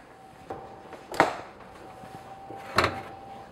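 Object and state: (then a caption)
Hollow-sounding baked bread loaf, done. Two sharp, hollow taps ring out on golden-brown white sandwich bread loaves just out of the oven after 35 to 40 minutes of baking. Each tap is brief with almost no ring, over a faint steady tone. The hollow sound shows the bread is baked through.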